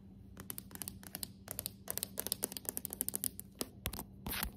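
Long acrylic nails tap and scratch the boards of a polished, dark, solid hardwood plank floor. Quiet scattered taps build into a dense run of sharp, bright clicks over a low steady hum. The clip ends with a longer scratching scrape.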